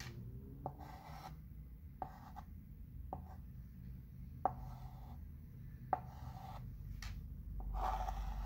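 A light-colored chalk pencil outlines letters on a flat wood-framed chalkboard with scratching strokes across the board surface. Soft, raspy scraping runs throughout over a low background rumble, with several short, sharp taps where the pencil tip meets the board.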